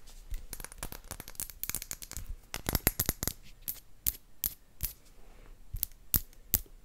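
An empty, clear round glass potion bottle with a cork stopper is tapped with long acrylic nails. The result is a quick, irregular run of sharp, bright clicking taps that stop almost instantly, coming in dense bursts early and spacing out toward the end.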